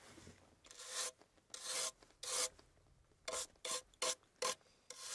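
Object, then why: Carved wooden box. Fingertips rub and scratch the carved surface of a small, hollow antique wooden box with its lid closed, held in the hands. A series of short, dry, raspy strokes with bright, hissy texture is heard, each stopping abruptly with almost no ring, separated by near-silent pauses.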